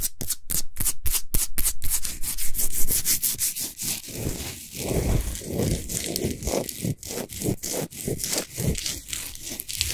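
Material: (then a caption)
Rock salt. Long nails rub and scratch a large, solid Himalayan salt sphere lamp that is lit from inside. Fast, rhythmic scraping strokes give a dry, gritty, bright rasp. Crisp, separate strokes at the start run into a dense, continuous scratching texture.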